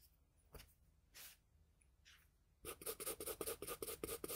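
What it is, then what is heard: Pencil drawing on paper. The graphite tip of a wooden pencil scratches and rubs across a flat sheet of drawing paper along the jaw line of a drawing. A few soft, separate strokes come first, then a quick run of bright, dry scratching strokes in an uneven rhythm.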